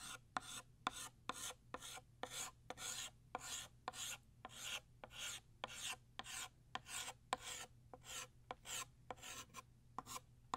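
A blue chalk stick is traced back and forth along a line on a flat black chalkboard, thickening it. About 25 short, dry rasping strokes follow at an uneven pace, each a bright, scratchy burst with a sharp click at its start, over a faint steady low hum.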